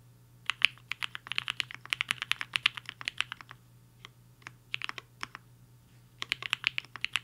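Fingertips of both hands type on a black-cased 75% HI-FINGER 7.5 mechanical keyboard with a hollow case and white and pink plastic keycaps, resting on a desk mat. Quick, bright, clacky keystrokes fall in fast runs, each one short and dry. The typing pauses twice briefly before a final burst.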